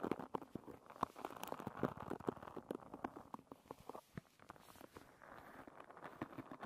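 Long red nails scratch and flick across the many thin wooden pins of a hairbrush. Quick, dry wooden clicks and ticks come in rapid, uneven bursts, centered in the midrange. Toward the end they settle into a softer, steadier scratching rustle.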